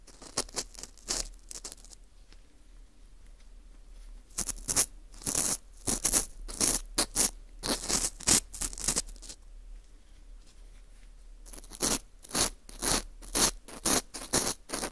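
A green plastic screw earpick scratches inside the hole of a small, hollow ring of dry, porous baked wheat gluten (fu) held in a gloved hand. It makes short bursts of crisp, bright, dry scratching and rasping in uneven clusters, with quieter stretches in between.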